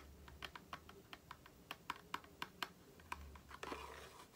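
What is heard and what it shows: Long fingernails tap and scratch the printed surfaces of a small, hollow cardboard Aloe face-cream carton as it is turned in the hands. A quick, uneven series of sharp, dry clicks with bright tops is heard, ending in a short scratchy rustle. Each tap stops almost instantly over a low, quiet background hum.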